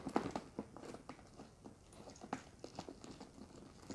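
Long red acrylic nails scratch and tap the sides of a hollow, medium brown structured handbag of leather or faux leather, with handles and metal rings, held up in the air. Quiet, dry, crisp taps come in quick irregular bursts over a soft scratching rustle, each tap dying away almost at once. The sound sits mostly in the midrange with little deep low end.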